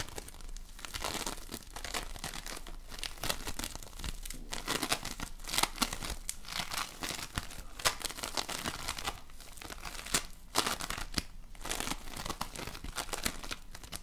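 A lump of polystyrene foam bead slime (floam), held in both hands, is squeezed and folded by fingertips with painted nails. It gives a continuous run of dense, bright crunching and crinkling crackles with quick, dry pops that stop short without ringing.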